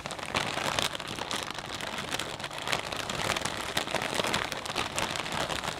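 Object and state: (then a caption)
Plastic bag of potato chips being squeezed. Both hands grip a medium, transparent plastic snack bag full of potato chips and squeeze it with the fingertips, crinkling the film and crunching the chips inside. The result is a dense, continuous crackle with a bright, hissy edge and little low end, holding a steady level for the whole clip.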